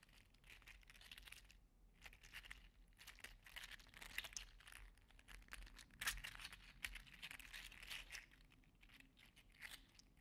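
A green and teal segmented 3D-printed PLA articulated slug toy is squeezed in a fist, then dangled and wiggled so its plastic joints rattle. The result is a dense stream of quiet, bright, crinkly clicks and rustling ticks with no ring.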